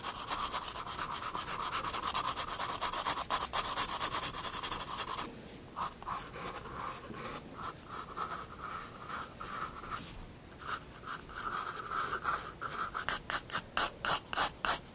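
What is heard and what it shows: A 4B pencil draws lines on a paper sketchbook page resting on a wooden desk, making a dry, scratchy rubbing sound. The first few seconds are a dense, continuous scratch, then the strokes turn quieter and sparser. Toward the end they become short, quick, evenly spaced strokes with a bright, papery hiss.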